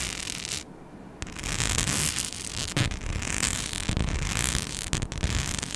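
Long nails scratch across a flat, palm-sized rhinestone-studded mic skin sheet, making a dense, bright, gritty rasp. The scratching eases briefly near the start, then returns steady with small sharp clicks scattered through it.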